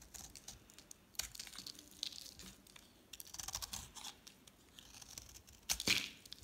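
A solid, palm-sized pink dry soap bar with a black painted rim is held in the hand and shaved into flakes with a metal utility knife blade. Quiet, dry, bright scraping and crackling sounds come in clusters of short strokes. A louder scrape comes near the end.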